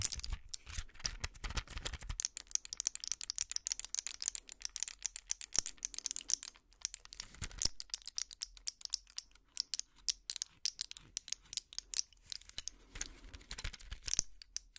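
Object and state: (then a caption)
Plastic and foil blister pack. Long nails rapidly tap and scratch a small, flat pill blister pack held close to the mic, with clear plastic bubbles on a foil backing. A dense run of sharp, bright clicks and crinkly scratches comes through, with a fuller, heavier burst of handling in the first two seconds. The clicks stop almost instantly, with no ring.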